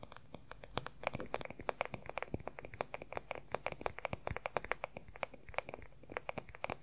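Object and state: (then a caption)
Solid wooden hairbrush back. Fingernails rapidly tap and scratch the smooth, solid wooden back of an oval wooden hair brush, held with its bristles facing away. The result is a dense stream of quick, sharp, dry clicks with brief scratchy sounds in between, each tap dying away almost instantly.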